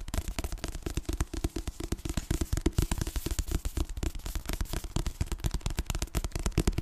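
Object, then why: Paperback book, paper. A solid paper paperback book held beside the mic is tapped fast on its cover with long painted nails. The result is a rapid, uneven run of short, dull, low thuds with a light papery click and almost no ring.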